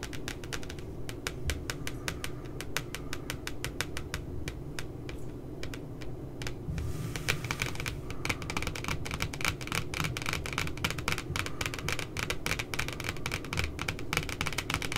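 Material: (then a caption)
Cardboard. Long glittery nails tap quickly on the glossy cardboard cover of a spiral paper notebook with a puppy design. A dense, steady stream of short, dry clicks runs throughout, becoming brighter and more crisp after about seven seconds, over a soft low background rumble.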